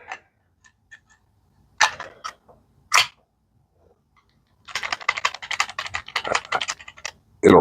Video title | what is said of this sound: Prototype Scout Carry knife | it'll rattle a little bit I guess if I shake it pretty hard but locks in well